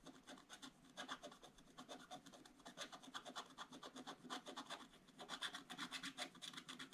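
A wooden stylus scratches quick back-and-forth fill strokes into the gift box on a black coated scratch-art paper page in an open book. The result is a dry, rhythmic rasping with a bright edge around 3.5 kHz and very little low end, each stroke dying away almost instantly.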